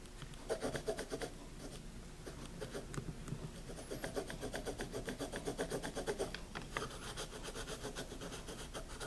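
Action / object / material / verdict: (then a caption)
scrape / paper spiral notebook with pencil / paper / none. A pencil writes continuously on a wire-bound paper spiral notebook lying flat. Its tip scratches across the paper in quick strokes, making a steady, rhythmic rasping with brighter bursts on each stroke.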